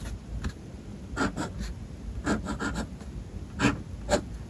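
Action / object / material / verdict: scrape / steel pen nib on a paper notebook page / paper / none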